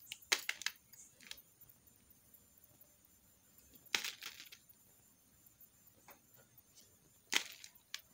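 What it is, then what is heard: Soap bar being cut. A metal knife slices and shaves strips off a solid green soap bar held in the hand. Three main bright, crisp scraping cuts stand out, each trailing into smaller dry crackles and ticks, with near silence between them.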